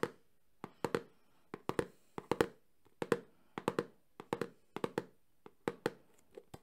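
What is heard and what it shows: A small, closed, printed cardboard Samsung phone box is held in one hand and quickly tapped and scratched with the fingertips and nails of the other hand. About two dozen dry, hollow, mid-pitched taps land in quick clusters and irregular bursts. Each has a sharp clicky edge and dies away almost at once, with little low end.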